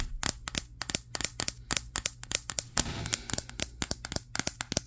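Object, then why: Smartphone with glass back. Fingertips quickly tap the matte glass back of a Samsung Galaxy S23, the recording phone itself, held in both hands in front of a mirror. About 28 sharp, bright clicks come in an uneven, rapid rhythm, each dying away almost instantly over a faint low hum.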